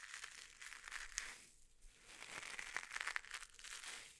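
A small, hollow, springy coiled copper mesh scouring pad is held up and squeezed and crunched by fingertips. It gives quiet, bright, crinkly crackling with sharp metallic snaps and almost no low end. The crunching eases briefly in the middle before picking up again.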